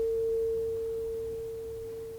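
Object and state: Nothing is struck.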